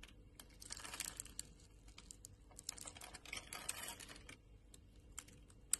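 A metal utility knife blade scrapes and carves small cubes off the surface of a solid green bar of soap with a grid pattern, held in the palm. Quiet, dry, bright scraping and crisp crumbly ticks come in two denser bursts, separated by scattered clicks, ending in one sharper snap.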